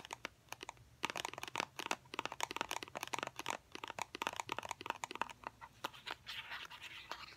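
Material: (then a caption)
Cardboard. Fingernails tap and turn a small, hollow white cardboard fidget cube box in the hands, making a dense run of dry, crisp taps and clicks. The clicks have a hollow midrange tone with bright edges, and each one stops at once with no ring. Near the end the tapping gives way to a softer scratchy rustle.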